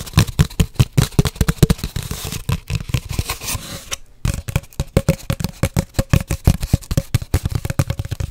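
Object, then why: Cardboard paper towel tube. Long nails tap and scratch rapidly on an empty, hollow cardboard paper towel tube held horizontally over the mic. The result is a quick, uneven stream of hollow, low thumps with a faint ringing tone. A stretch of denser scratching runs in the middle, followed by a brief silence before the tapping resumes.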